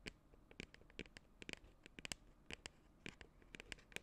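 A medium cylindrical "Scoop Party" cosmetic tub, likely plastic and hollow, with a white lid and printed label, is held in both hands and scratched and tapped on its side with long acrylic nails. About seventeen quiet, dry, bright clicks and scratchy taps sound, centered near 2.8 kHz, each dying away almost instantly. Soft scraping fills the gaps between them.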